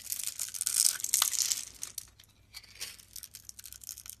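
A solid blue soap bar with a scored grid surface, held in hand, is scraped and cut into small cubes with a metal utility knife blade, with carved soap roses resting nearby. Bright, dry scraping and crisp cutting sounds come in dense bursts for the first two seconds, then thin out into sparse, soft flicks and crumbles.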